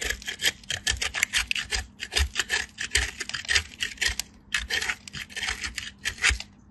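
A small solid piece of soap, pressed with fingertips with blue-painted nails, is scraped quickly back and forth along a stainless-steel box grater. It makes a steady run of bright, crisp rasping strokes with a brief pause partway through.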